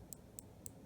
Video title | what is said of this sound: Troubleshooting Inverter Generator Will Not Start - FIXED Fugi Micro | I could just hear this thing kind of rattling back and forth like it was loose